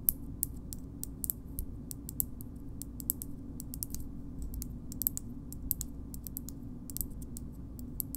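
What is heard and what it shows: A small, hard, hollow, curved green plastic shoehorn is tapped and scratched with long nails. The result is a steady run of quick, sharp, bright clicks and light scratches. They sit quietly over a constant low hum.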